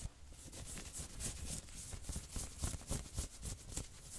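Long nails quickly scratch the front of a worn, dark red patterned knit sweater near the chest and shoulders. The result is a quiet, steady run of rapid, brushing scratches, about three to four strokes a second, with bright fabric hiss over soft low thumps.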